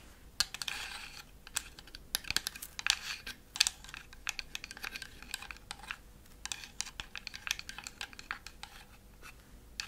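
Long acrylic fingernails tap across the roof and front panels of a thin laser-cut wooden Christmas village house scene. The result is a quick, uneven run of bright, dry clicks and light scratchy taps that stop instantly with no ring, with a few sharper, louder knocks standing out from the softer patter.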